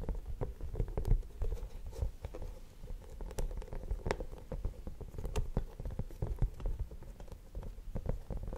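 Fingertips tap rapidly and continuously on the surface of a flat, cream-coloured rubber hot water bottle that is hollow, apparently empty, and held upright. The taps make soft, dull, low thumps with almost no ring, over a faint steady midrange hum.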